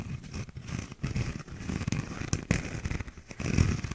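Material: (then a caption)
Paper, plastic. A small, hollow, empty paper cup with a cardboard inner wall and a blue, bumpy plastic outer sleeve is turned in the hands and scratched with fingernails. It produces a steady run of dry, crinkly scratching and crackling, mostly low and muffled, with brief sharper scrapes poking through.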